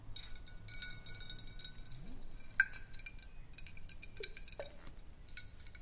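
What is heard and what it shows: Long nails tap and scratch along the body of a clear, hollow glass swing-top bottle held sideways. Quiet, rapid clicks and scrapes run throughout, with a faint glassy ring near 1.6 kHz and a few louder, sharper taps standing out.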